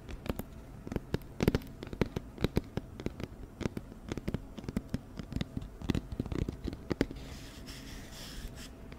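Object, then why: Round cardboard box. An empty, hollow, round white cardboard flower box, held up beside the microphone, is tapped quickly with long nails. The irregular bursts of short, dry taps sound hollow, with low thumps under sharp nail clicks that stop at once without ringing. Near the end the tapping thins out into a soft, bright rustling.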